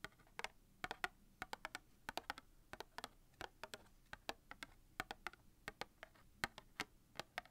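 A small red cardboard matchbox, hollow and filled with wooden matches, is tapped rapidly with long dark-painted nails. About 33 quick, dry, clicky taps come in an uneven rhythm. Each is short and bright with almost no ring, over a quiet background.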